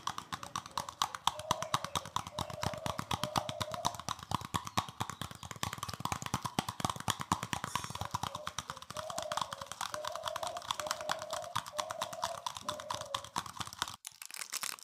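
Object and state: Plastic scrub brush.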